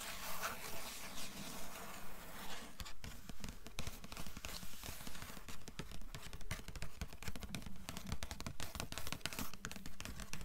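Long nails tap quickly on the paper blue endpaper inside the cover of an open hardcover book. A soft rustling texture gives way to a steady, rapid patter of short, dull clicks with little ring.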